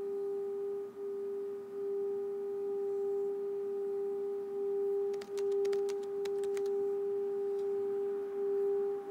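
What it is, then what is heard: Brass singing bowl. A wooden mallet rubs the rim of a small, hollow, empty brass singing bowl resting on an open palm, then lifts away. A steady, pure hum around 406 Hz with a fainter overtone near 800 Hz sings throughout with a slight wavering swell. A cluster of faint, bright ticks briefly overlays the tone midway.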